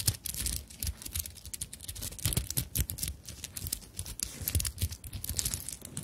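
Long nails scratch and rub the sequin flap of a small fabric handbag covered in sequins and beads. The result is a steady, dense stream of bright crinkly scratching and rapid ticking, with soft low bumps underneath.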